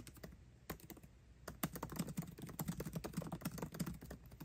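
Fingertips type fast on a MacBook Pro keyboard with plastic keycaps set in an aluminum body. A few sparse, quiet taps give way to a quick, uneven run of short, dry clicks with a low, soft thud beneath each keystroke. There is no ringing between strikes.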